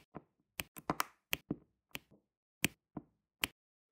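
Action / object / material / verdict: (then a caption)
tap / small resin drills pressed onto an adhesive canvas with a pen tool / resin / none. A pen tool with a metal tip taps small, solid, square resin diamond-painting drills into place in rows on an adhesive canvas. Each tap is a light, dry click with a bright top and a short low thump beneath it. The clicks are irregularly spaced with brief silences between them and die away almost instantly.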